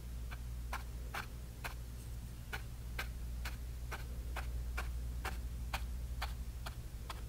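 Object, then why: Bristle brush on painted canvas panel. A flat bristle brush dabs and taps grey paint onto a small painted canvas panel in a stippling motion. Quick, fairly even soft ticking taps with a bright, papery edge repeat over a steady low hum.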